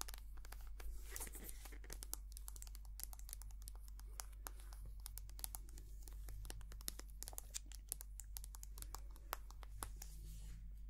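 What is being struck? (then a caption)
Soft plastic squeeze tube of cream. Long painted nails tap and scratch a small white soft-plastic squeeze tube of hand cream, hollow and filled with cream. A quiet, dense stream of short, crisp, bright clicks and crinkly scratches plays over a steady low hum, with no ring after each tap.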